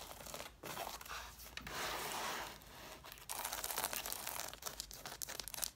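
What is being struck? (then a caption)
Stack of cloth-bound hardcover books. Long nails scratch and tap the page edges and covers of a stack of six red cloth-bound hardcover books with solid paper pages, viewed from the page-edge side. Dry, bright scratching rasps in bursts, swelling into a steadier scraping stretch in the middle. It then breaks into quick, crisp tapping with very little low end.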